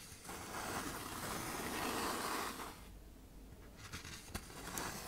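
A hand-sized sheet of tan K120 waterproof sandpaper with a thin paper backing is bent and folded in the hands while long nails scrape its surface as it flexes. A dense, gritty scratching rustle runs for the first few seconds, then drops to a quieter crinkle broken by three sharp, bright crackles.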